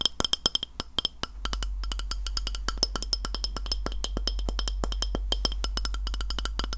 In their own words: 03:23 Tapping a Glass Plate